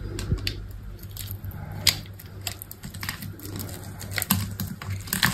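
A utility knife blade scrapes and cuts the black embossed coating off a hand-sized solid white soap bar. Dry, crisp scraping and cutting noises come in short bright bursts, with a few sharper snaps, over a steady low hum.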